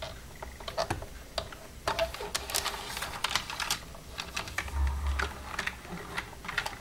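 Long red-painted nails tap and type across the keys of a black plastic desktop computer keyboard with its hollow casing, using both hands. An irregular run of sharp, bright clicks and clacks comes in quick bursts over a faint low hum, with each tap dying away almost instantly.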